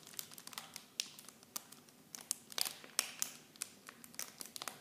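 Clear plastic film wrapped around small bottles is crinkled with fingertips and long nails. Quiet, bright, dry crackles and sharp ticks come in irregular bursts, with almost no low end and no ring after each snap.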